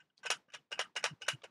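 A second-hand microscope head is shaken to check for loose parts, giving a quick series of bright, clattering rattles with most energy above 2 kHz. Something is clearly loose and rattling around inside.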